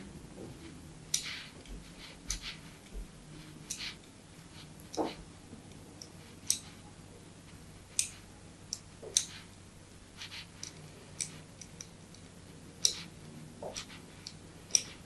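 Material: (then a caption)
Soap. A solid white bar of soap with an embossed logo, held in the hand, is scored with a metal blade. About seventeen short, crisp, bright scraping clicks come at irregular intervals over a faint low hum, each dying away almost instantly.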